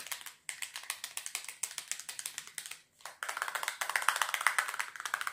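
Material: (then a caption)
Plastic. Long fingernails tap fast and scratch across the faces and edges of a small, hollow white plastic double box. About 36 quick, dry, bright clicks come in uneven bursts with two brief pauses, each dying away almost at once with no low end. The rhythm grows denser and louder toward the end.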